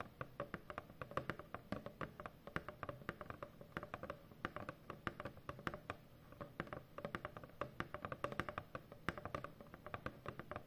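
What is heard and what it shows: Long fingernails tap rapidly and steadily across a large, hollow corrugated cardboard shipping box for about ten seconds. Each quiet, dry click carries a dull, hollow low thump from the box and dies away almost instantly, with no ringing between the closely spaced taps.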